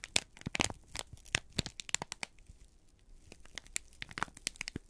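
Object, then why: Kraft paper sheet. A folded, crinkled brown kraft paper sheet held in both hands is squeezed and crumpled with the fingertips. It gives a quiet run of sharp, bright crackles and crinkles with dry clicks and tearing-like rustles, each snap stopping instantly with no ring.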